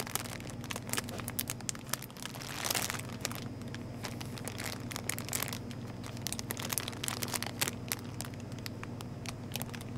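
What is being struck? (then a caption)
Plastic wrapper around a pack of instant noodles. A full 5-pack of Top Ramen beef noodles in its red printed plastic multipack wrapper is held in both hands and crinkled and scratched with long painted nails. Dense, bright crackles and rustling scrapes fill the clip over a steady low hum. There is a denser crinkling burst near the three-second mark.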